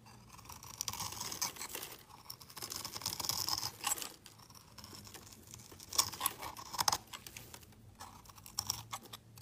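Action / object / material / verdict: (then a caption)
scrape / bar of soap scraped with a knife blade / soap / none. A utility knife blade scrapes and carves a solid, hand-sized light blue bar of soap, and crumbly shavings fall away. The sound is a series of dry, bright, raspy scraping strokes in uneven bursts, with a few sharper crackling snaps near the end and quiet pauses between strokes.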